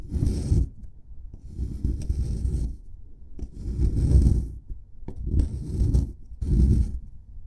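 A flat metal chisel pick scrapes at the dug corner of a solid white plaster excavation block. Five gritty, rasping scraping passes are heard, each a low, rough burst with bright hiss on top, separated by brief quieter gaps.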